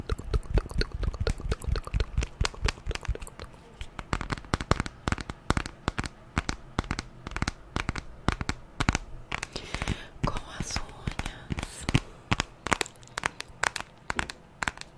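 Long nails rapidly tap the glass screen and the aluminium frame edge of a white smartphone held in the hand. The result is a dense, continuous run of short, dry clicks and taps that are heavy in the low end and stop with no ring. Around the 10-second mark, the taps briefly turn brighter and more crackly.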